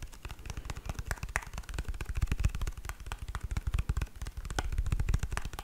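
A small white plastic squeeze tube of hand cream with orange print, which appears full, is held and tapped and scratched with long nails. Rapid, irregular, dull thuds heavy in the low end mix with short, bright scratching clicks, each dying away almost instantly.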